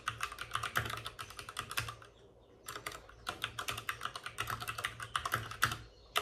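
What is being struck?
Plastic mechanical keyboard.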